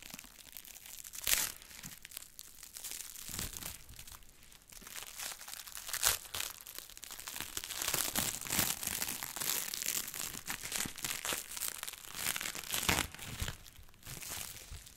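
A long roll of clear plastic cling film, with loose crumpled film bunched around it, is held in both black-gloved hands and squeezed and rubbed with the fingers. Continuous bright, dry crinkling and crackling fills the clip, with sharper louder crunches standing out now and then.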